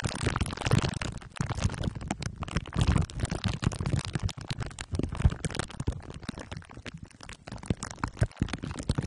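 Two glue sticks are rubbed over the top and sides of a microphone head wrapped in crumpled aluminium foil under clear plastic wrap. The result is a dense, continuous stream of crinkling, crackling friction with a heavy, boomy low-end rumble that swells and dips as the strokes change.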